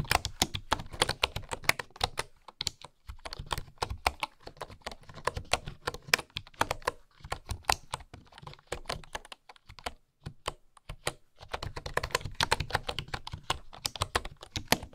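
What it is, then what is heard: Bamboo wooden keyboard being typed on. Long manicured fingernails and fingertips tap the wooden keys of a full-size bamboo keyboard resting on a table, making rapid, dry clicks and clacks with a bright edge. The typing comes in bursts with brief pauses, and each sharp tap stops almost instantly with no ring.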